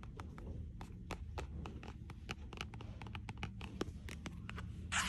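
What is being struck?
Paperback book with glossy cover.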